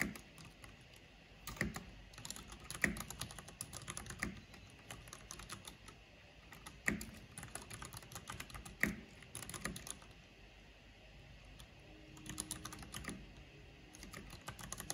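Rapid typing with long painted fingernails and fingertips on a full-size black plastic mechanical computer keyboard with a purple backlight and a hollow housing. Bursts of quick, bright clicky keystrokes with short clacks run on and off over a quiet background, with louder strikes standing out now and then.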